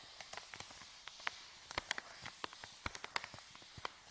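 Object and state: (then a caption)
Paper bag being crinkled. A palm and fingertips press and rub a folded white paper bag, empty and flattened, lying on a table. About sixteen quick, dry crinkles and crackles pop out over a soft, hissy background. They are bright and sharp, with almost no low end, and each snaps off instantly.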